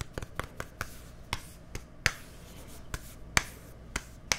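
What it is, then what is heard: Plastic deodorant stick tapped. A small, hollow, white plastic deodorant stick with a green cap is held close to the microphone and tapped with fingertips and nails. Eleven short, sharp, bright clicks with a light hollow knock come at uneven intervals, each dying away almost instantly over a faint background hiss.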